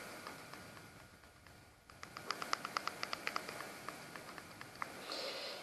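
A Diva Cup, a silicone menstrual cup, is made to give the same sound as other cups to compare it with plasticky-sounding ones. It produces a rapid, irregular series of short, bright clicks centred around 1.2 kHz. The clicks are quiet and dry, fade out, and are followed by a brief soft hiss.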